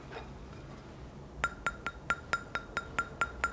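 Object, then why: Magnesia-bond sharpening stone. A magnesia-bond sharpening stone, lifted up, is tapped with a fingernail ten times in a steady run. Each tap gives a short, fairly high clink with a clear tone around 1.4 kHz and bright overtones that die away almost at once. This somewhat high sound is usual for a magnesia-bond stone, though it varies by product.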